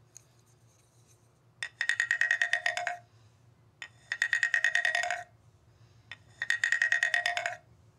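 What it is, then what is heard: Bamboo ridged tube (scraper instrument). A thin wooden mallet taps and scrapes along the ridged slats section of a long hollow bamboo tube lying on carpet. Three separate passes are heard, each a sharp tap followed by a quick run of hollow, woody clicks with a bright ring near 1.9 kHz, ending in a lower rasp. A faint low hum sits underneath.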